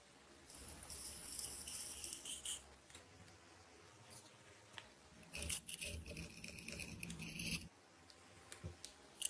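A fist-sized solid ball of wound green transparent adhesive tape, held in one hand, is cut and scratched open with a metal craft knife blade. Two long, bright, crackly scraping passages are heard, the second with a low rumbling undertone. Quiet gaps between them hold faint ticks and short clicks.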